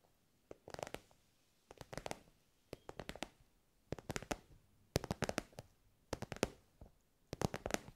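Long nails tap an elongated, soft pencil case covered in shiny pink synthetic fabric. The quick, quiet, dry taps come in eight short bursts separated by brief pauses. Each tap dies away almost instantly, with a soft mid-range tone and a light crisp edge.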